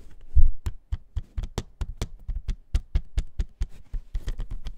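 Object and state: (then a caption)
Plastic jewel case. A plastic CD jewel case is tapped in a quick, uneven run of about twenty short, dry taps. Each tap has a soft low thump with a faint bright click and dies away almost at once, leaving no ring.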